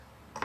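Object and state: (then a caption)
Fake wooden object. A single dry, short tap on an unidentified wooden object in an abandoned school, found to be a fake element made of wood rather than the real thing. The knock is a brief, mid-pitched click centered near 1 kHz that dies away almost immediately after a quiet lead-in.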